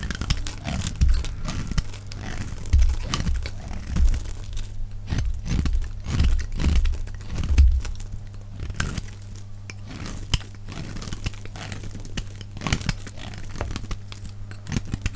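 A hand-held, hand-sized solid bar of dry purple-and-white striped soap is scraped with a metal utility-knife blade, shaving off thin purple curls, with the sound played at double speed. Rapid dry scraping and crinkly tearing strokes run continuously over a heavy low rumble, with brief crunchy peaks throughout.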